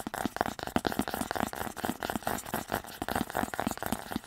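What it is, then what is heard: Cardboard box tapped and scratched. A small, hollow, white printed cardboard earbud box is held in both hands and tapped and scratched with fingertips and nails. The result is a quick run of dry, hollow taps with a low body around 230 Hz, mixed with papery scratching and little ring after each hit.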